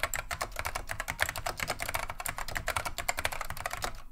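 Continuous two-handed fingertip typing on a beige plastic vintage Wang 725 mechanical keyboard with Alps switches. The result is a rapid, steady stream of sharp, bright clacks with very short decay, with a low thump under the strokes. The keys land about 24 times in just over four seconds.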